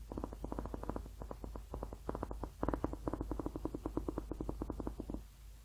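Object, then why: Rubber hot water bottle. A blue, ribbed, hollow rubber hot water bottle is held in both hands near the mic and tapped and scratched with painted fingernails across its ribbed surface. Rapid, close-set fingernail taps come in quick runs, each a short, dull, muted pulse with a low hollow body and no bright edge. Each tap dies almost instantly, leaving a faint low hum underneath.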